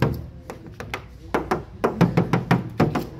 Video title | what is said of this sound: DATSUN T OPTION 2016- Review Mobil Dan Tips Membeli Mobil Bekas Oleh Rian Mobil | semuanya nih tidak ada dempul. Di sini juga tidak ada dempul.